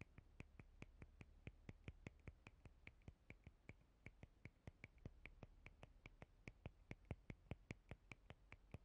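Long painted fingernails scratch and tap the edge and rounded nubs of a clear, palm-sized, rigid, transparent plastic cellulite body brush with a hollow side. About 45 short, sharp, bright plastic clicks come in a quick, uneven run over a quiet, steady low hum, each dying away almost instantly.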